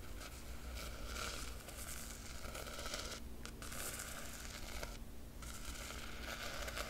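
A single long fingernail traces the embossed silver foil dragon emblem on the black textured cloth cover of a large square hardcover book. The result is a quiet, continuous dry scratching and rustling with bright, fine texture over a steady low hum, with brief pauses in the high scratch around the middle and later in the clip.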